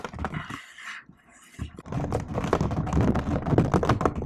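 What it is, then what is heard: Laptop keyboard with plastic keys. Fingertips and long nails type on a laptop keyboard with plastic keycaps. Soft, scattered taps and a brief near-silent pause give way to a fast, dense run of clicky, low-bodied keystrokes with short, dry decays.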